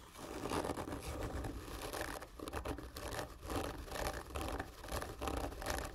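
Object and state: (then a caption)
Cardboard gift tube being scratched. Long fingernails on both hands scratch slowly and hard across the surface of a large, hollow, black printed cardboard whisky gift tube lying horizontally. Rough, raspy strokes rise and fall in repeated swells over a low, hollow rumble from the tube.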